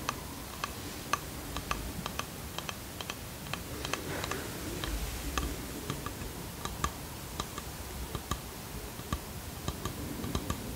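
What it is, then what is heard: Wooden box. Long fingernails tap and scratch a small varnished wooden box with brass hinges and a carved edge. Short, dry, clicky taps land in an irregular rhythm over a soft, steady scratching bed, each tap dying away almost instantly.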